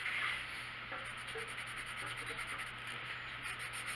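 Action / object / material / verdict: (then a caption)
scrape / colored pencil on a paper coloring page / paper / none. A colored pencil held in the hand scratches and rubs across a printed paper coloring book page lying flat on a wooden table in steady coloring strokes. The result is a continuous, bright, papery scratching hiss that stays at an even level throughout, with quick stroke-by-stroke pulses in the high range.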